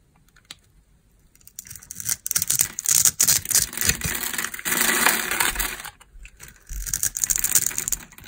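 A metal knife blade scrapes and cuts the scored surface of a solid, oval, red, translucent dry glycerin soap bar held in the hand, breaking off small cubes. The clip is full of quick, dry, bright crunching and scraping bursts with very little low end. It starts quiet and grows into dense runs of crackling.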